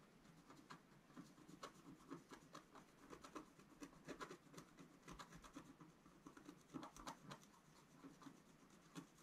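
A pointed wooden stylus held in the fingers scratches a flat, thin, black-coated scratch art sheet from a scratch book lying on a table, revealing the colour underneath. Quiet, dry scratching strokes repeat in short bursts, each with a soft scrape and a faint bright edge, over a low, steady hiss.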